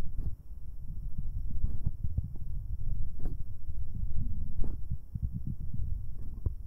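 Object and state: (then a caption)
Metal microphone capsule rubbed by fingers. Two fingers in rubber finger cots rub directly on the left metal capsule of a binaural microphone pair. The sound is a deep, muffled rumbling and scuffing, with soft thumps and a few brief, brighter clicks layered over a low, continuous drone.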